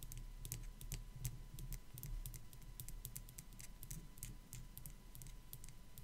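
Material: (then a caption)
Ceramic. Long black nails tap rapidly on the back of a small, hollow, white matte ceramic sugar skull figurine. Quick, dry, bright clicks patter like typing over a low rumble, each tap dying away almost instantly.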